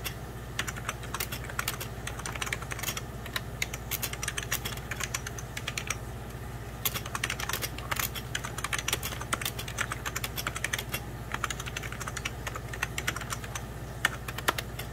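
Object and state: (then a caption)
Plastic computer keyboard being typed on. Fingertips of both hands type on a hollow, beige 1990s Packard Bell plastic computer keyboard. The result is a steady stream of quick, bright plastic key taps and clicks that die away almost instantly, over a constant low hum.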